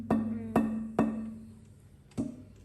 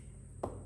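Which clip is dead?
The second.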